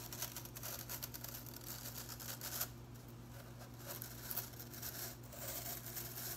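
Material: Plastic.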